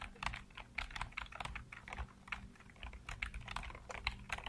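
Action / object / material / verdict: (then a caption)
tap / plastic computer keyboard / plastic / none. Fingertips rapidly tap and type on the hollow keycaps of a full-size black plastic computer keyboard. The result is a fast, uneven run of short, dry, bright plastic clacks that stop instantly, over a faint low hum.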